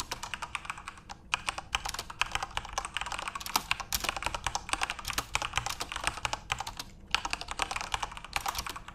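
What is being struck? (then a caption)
Mechanical keyboard with plastic keycaps. Fingertips type steadily on a full-size RGB-backlit Corsair mechanical keyboard with plastic keycaps. Rapid, bright, dry clacks come in dense runs, with short pauses around the one- and seven-second marks. Each keystroke dies away almost instantly.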